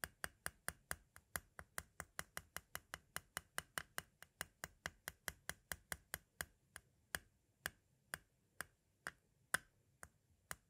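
A metal-tipped tool taps crisply around the tape window of a white, hollow plastic audio cassette. Thirty-nine short, dry clicks ring briefly around 1.5 kHz with a bright edge. They come in a quick, steady run that slows to sparser taps toward the end.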